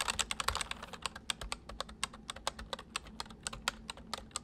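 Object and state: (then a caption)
Plastic mechanical keyboard. Both hands type with their fingertips on a full-size white plastic mechanical keyboard with white keycaps resting on a wooden desk. About thirty quick, sharp, bright clicks come in an uneven, rapid stream, each dying away almost at once with very little low end.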